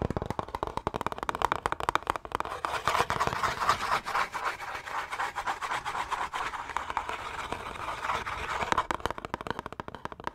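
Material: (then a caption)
Cardboard. A small green Irish Spring cardboard bar-soap box, likely holding the soap bar, is tapped and scratched fast with fingertips and nails. Dense, dry papery taps and scratches run steadily through the clip, with a light hollow tone around 960 Hz and no lingering ring.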